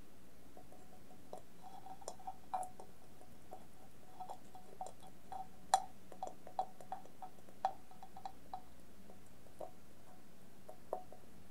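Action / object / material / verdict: tap / stainless steel bowl covered with tape and sequins / stainless steel / none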